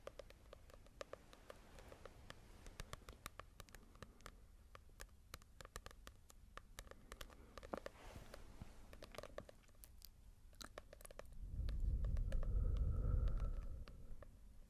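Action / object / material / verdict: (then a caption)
tap / small paperback book, glossy card cover / paper / none. Long nails tap quickly and steadily on a small, solid paperback manga volume with a glossy cover, making dozens of crisp, light clicks over a quiet low hum. Near the end, a louder low rumble swells and fades while the tapping continues.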